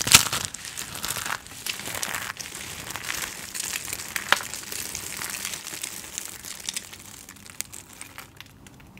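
Hands with long painted nails scoop, squeeze and crush handfuls from a large loose pile of dry, brittle recycled soap shavings and flakes in white, yellow and blue on a dark surface, rubbing the flakes together; the batch is a semi-fail. The result is a steady, bright crinkling crunch of dense, tiny crackles with almost no low end, occasional sharper snaps, and a gradual fade toward the end.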